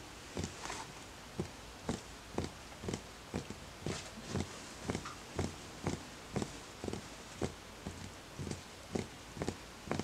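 Fingertips tap the outer wall of a small, empty, hollow wooden bowl in a steady run of soft, muted knocks, about two per second. Each tap gives a short, dull thump with a brief woody click that dies away almost at once.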